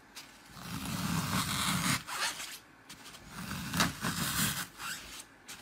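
Fingertips with painted nails press into the front edge of a dry, porous, solid dark green floral foam brick, its top covered in bands of blue, red, green, pink and purple glitter, crushing it into wavy dents. Four crunchy, crackling bursts of crushing are heard, each a dense grainy scrape with a soft low thud and bright hiss, separated by brief quiet gaps.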